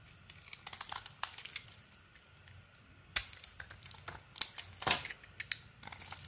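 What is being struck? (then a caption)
Bar of soap cut with a metal blade. A solid purple-edged bar of soap with a cream core, held in the hand, is carved by shaving strips off it with a metal blade. It makes a series of crisp, bright scraping and crinkling sounds, with short dry bursts separated by quiet gaps.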